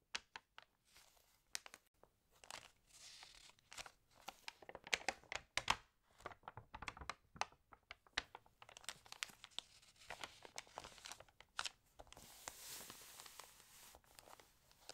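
Hands with long nails turn and rub the pages of an open, water-damaged glossy paper magazine. Quiet, bright crinkles, rustles and short crisp ticks come in dense bursts with almost no low end, each snap dying away almost instantly. A softer hissing rub swells between them, strongest near the end.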